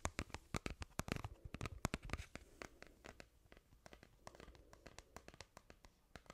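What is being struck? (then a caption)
Thin flat plastic ruler. Long manicured nails scratch along the surface of a small, thin, flat plastic ruler held close up in both hands; one side has a red cross and the other has animal pictures. A quick, irregular run of sharp, dry scratches and clicks with bright crackle and a low thud fills the first two seconds. The scratching then softens before picking up again in lighter strokes.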